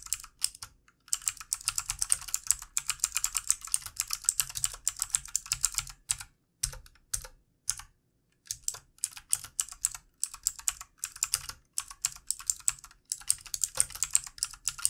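Fast typing with the fingertips of both hands on a backlit plastic computer keyboard. It produces rapid bursts of bright, crisp key clicks with almost no ring and short pauses between runs.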